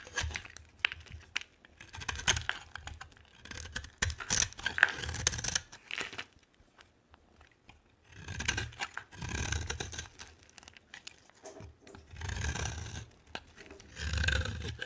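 A solid green bar of dry soap, held in the hand, is cut and scraped with a utility knife blade, and flakes fall off. Dry, crisp scraping and crunching strokes come in bright, gritty bursts with brief pauses between them, under a soft low rumble.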